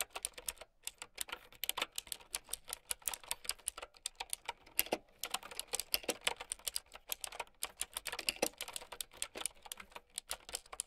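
Fast typing with long nails on a plastic mechanical keyboard with round keycaps. It makes a rapid, uneven stream of sharp, bright clacks with almost no low end. Each keystroke dies away almost instantly.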